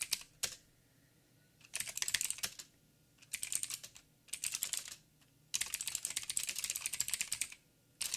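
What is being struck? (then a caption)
Mechanical keyboard with plastic keycaps. Fingertips type on a backlit mechanical keyboard with plastic keycaps and blue clicky switches. Bright, sharp clicks come in bursts separated by short pauses, with almost no low end and no ring after each keystroke. The longest run comes near the end.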